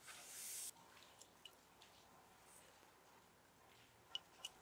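A glass candle jar is tapped gently, giving five short, bright clinks that ring at about 2.9 kHz and die away almost at once. The taps come in two loose groups after a brief bright hiss at the start. The overall sound is quiet, with little low end.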